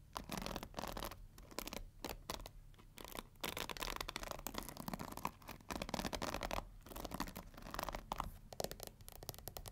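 Long nails scratch across the black pins and plastic handle of a pink plastic paddle hair brush. The result is a steady run of dry, bright scratching with quick rasping bursts and short pauses between strokes.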